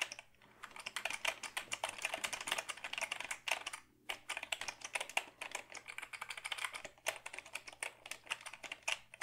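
A black Dell keyboard of hollow plastic is held tilted while fingertips type on its keys. Quick, bright plastic clicks come in rapid bursts with short pauses between them, each tap dying away almost at once.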